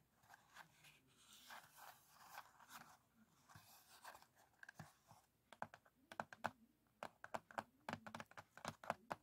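Fingertips with short nails rapidly tap and scratch the lid of a small, closed, printed cardboard matchbox, a hollow box with matches inside. Soft, dry scratching and rustling fills the first half, then gives way to a quick run of crisp, sharp taps with brief, bright clicks. The overall sound is quiet and close.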